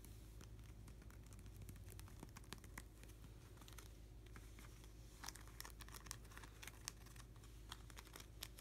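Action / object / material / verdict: tap / plastic card sleeve page in a binder / plastic / none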